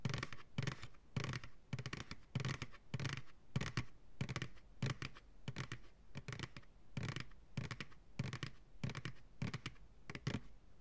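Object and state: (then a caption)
Empty plastic pail tapped and scratched. Fingertips and nails tap and lightly scratch the base and sides of a large, hollow, empty white plastic ice cream pail held upside down. Quick bursts of hollow, low-thumping taps mixed with scratchy, papery brushing repeat in a loose, uneven rhythm. Each tap decays quickly.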